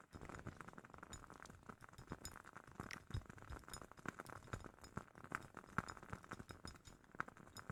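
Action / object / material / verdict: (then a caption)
tap / glass candle jar / glass / none. A glass candle jar from a Woodwick candle is tapped in rapid, quiet, irregular taps, giving short clinking glass sounds. A faint ringing tone sits around 1.3 kHz, and each clink dies away almost at once.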